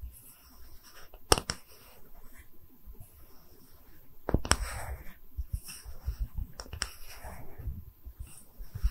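A small, round, solid wooden tree-slice stand with growth rings is held in both hands and tapped and scratched with long red nails. Soft scratching and low rustling run throughout, broken by several sharp, dry taps that have bright clicks on top and die away almost instantly.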